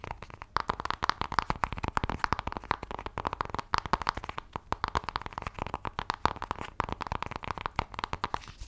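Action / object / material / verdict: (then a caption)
scrape / thin cardboard palette box / cardboard / none. A flat, thin, hand-sized black rectangular LORAC makeup palette box, likely cardboard, is held in both hands and scratched and tapped rapidly with long nails. The result is a dense stream of quick, dry clicks and scratchy crackles with a nasal mid-range tone and almost no ring.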